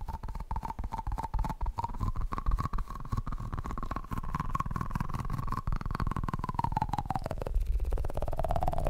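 A yellow, soft, rubbery squishy Pikachu toy is held in one hand and squeezed while the other hand's fingertips tap on it quickly. The result is a rapid, continuous run of dull, low, muffled thumps. A faint squeaky tone drifts up and down underneath the taps.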